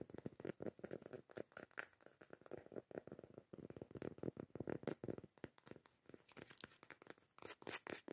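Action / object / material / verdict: scrape / cork coaster lid / cork / none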